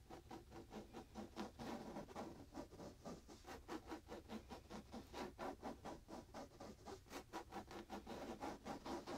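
Fingertips and short nails scratch a square, soft pillow held against the chest; its printed fabric case, likely polyester, carries a fishing illustration. Quick, uneven strokes give a quiet, continuous rasping scratch, mostly in the mid range. Each brief stroke fades fast.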